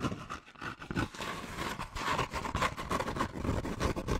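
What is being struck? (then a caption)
Kraft paper bag. An empty-looking, hollow brown kraft paper bag, held upright and gripped in both hands, has its textured surface scratched and rubbed in fast strokes by medium-length painted nails and fingertips. The result is a dense, crackling rustle with bright papery scraping and soft low thumps, rising and falling in quick, uneven bursts without pause.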